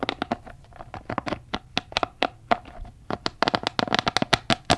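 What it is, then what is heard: Rubber spiky massage ball. Fingertips tap, rub and squeeze the spikes of a palm-sized, red, soft rubber spiky massage ball, likely hollow, held close to the mic. A quick, irregular run of short, dry taps and scratchy rubs, with a faint hollow tone around 690 Hz, cuts off almost instantly after each touch. The taps cluster more densely toward the end.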